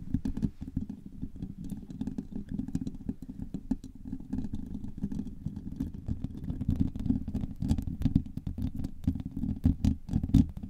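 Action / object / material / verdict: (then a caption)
scrape / woven steel mesh microphone grille / steel mesh / none. Long nails tap and scratch across the hollow woven steel mesh grille on top of a silver microphone. The result is a dense, continuous stream of quick taps and scratchy rustling with a boomy, low rumble underneath and sharp, bright clicks scattered throughout.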